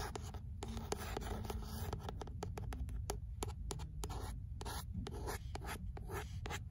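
Long nails scratch and tap the beige paper cover of a paperback book, "L'imaginaire," making a quick run of soft, dry taps over a steady papery scratching with a dull, low body. The book is then held up by its spine.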